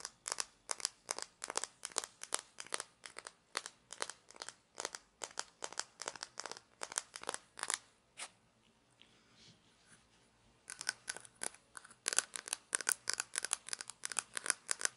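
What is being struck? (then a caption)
Small hollow plastic toy shaker bottle. Long nails rapidly scratch and fingertips handle a small hollow plastic toy shaker bottle with an orange cap, making dense, bright, crinkly scratching bursts. The scratching goes quiet for about two seconds partway through, then resumes just as quickly and crisply.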